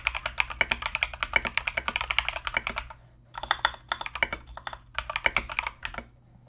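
Fingertips type continuously on a compact mechanical keyboard with Mozano EVE switches and plastic Knight King SA keycaps, producing rapid, bright, sharp clicky keystrokes with very short decay. The typing comes in three bursts separated by brief pauses, over a faint low hum.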